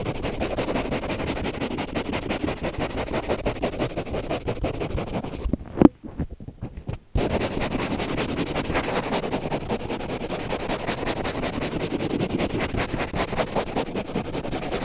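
Fingernails scratch fast across the green abrasive scrub side of a hand-sized kitchen sponge, making a dense, continuous rasping texture that spreads from low through bright frequencies. About halfway through, the scratching stops briefly, with a single sharp click, then resumes at the same quick, steady pace until the end.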